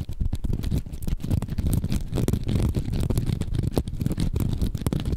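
A hand-sized yellow foam sponge is repeatedly squeezed and scratched with the fingertips right next to the microphone. It makes a steady, close, muffled crackling rustle, almost entirely deep and bassy, with rapid soft scratchy pulses and a few sharper crinkles. There is no bright top end.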